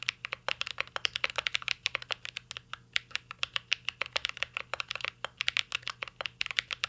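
Fingertips of both hands type continuously on a mint green Cyberboard R3 mechanical keyboard with a metal case and plastic keycaps. A fast, steady stream of dozens of sharp, bright clacks rings out, each dying away almost at once over a faint low hum.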